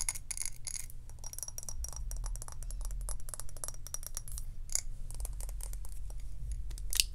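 Long acrylic nails rapidly tap and scratch on a medium glass jar candle filled with white wax, striking both the glass body and the rim of its glass lid. The clip is a dense stream of sharp, bright clicks and light scraping over a steady low rumble, with brief glassy rings and a louder tap near the end.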